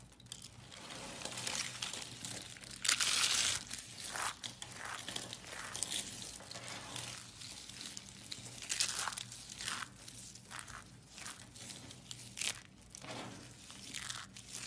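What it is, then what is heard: Crushed soap curls. Hands with long nails squeeze and crush green-and-white soap curls and crumbs into flakes on a white surface. Dry, bright crinkling and crunching crackles come in quick, irregular bursts, with a louder crush near the start and again partway through. The sound is mostly high and brittle with almost no low end.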